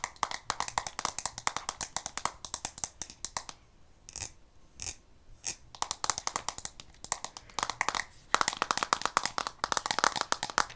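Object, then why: Plastic card deck box. Long painted fingernails tap and scratch quickly on a small rectangular blue plastic deck box with a textured leatherette-style surface, held in one hand with a card deck inside. The dense, dry, bright clicks pause briefly in the middle for a few isolated taps, then resume in rapid bursts.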